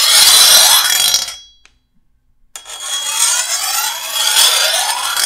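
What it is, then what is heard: Steel machete blade being filed. A rusty metal file is pushed by hand along the edge of a long, solid steel machete blade, making a bright, harsh scraping rasp with sweeping high tones. One filing stroke fades into a brief silence, then the scraping resumes and continues to the end.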